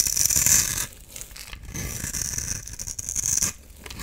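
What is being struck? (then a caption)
Bar of soap scraped with a knife blade. A solid oval blue bar soap held in the palm is scraped and shaved with a utility knife blade, peeling off powdery blue curls. Dry, bright scraping strokes rise and fall in bursts with a high hiss, separated by quieter gaps.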